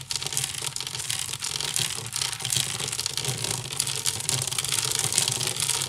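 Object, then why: Woven wicker basket. Fingertips and nails scratch fast on both sides of a hollow, empty woven wicker basket. The result is a dense, continuous bright crackle and rasp, steady in level for the whole clip, with a faint low rumble underneath.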